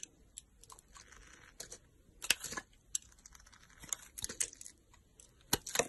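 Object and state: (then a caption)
Soap bar being carved. A utility knife blade carves into a solid pink soap bar held in the hand, cutting and scraping. Quiet, bright, crisp scrapes and short crunchy cuts come in repeated bursts with almost no low end and no ring after each stroke.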